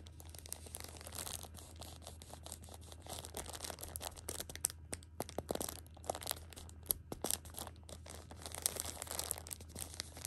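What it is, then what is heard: Plastic-wrapped tissue pack crinkled. Fingers scratch, squeeze and rub the crinkly plastic film wrapped around a six-pack of pocket tissues. Dense, bright crackling and sharp crinkles run throughout the clip over a steady low hum.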